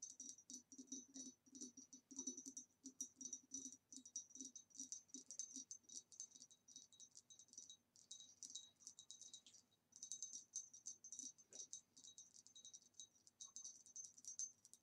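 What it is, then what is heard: Ribbed glass vase tapped with nails. Long nails tap quickly along the ribbed neck of a hollow, empty, green retro glass vase standing upright. The result is a rapid run of bright, clicking taps, each with a short, high glassy ring, and a brief pause just before the tapping resumes near the ten-second mark.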